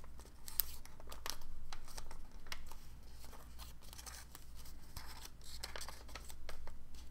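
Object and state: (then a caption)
Origami paper being crinkled. Fingertips squeeze and crease a small folded dark blue origami paper figure held above a book, making quick, irregular bursts of bright, dry crinkling. The thin paper crackles in short, sharp snaps over a steady low hum.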